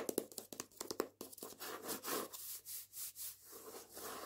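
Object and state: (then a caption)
Hardback book with paper dust jacket. Fingernails and fingertips tap and scratch the back and front of the paper dust jacket on a hardback copy of "Jews Don't Count." A run of quick, dry taps comes first, followed by soft, rhythmic, papery scratching strokes that swell and fade with a bright hiss.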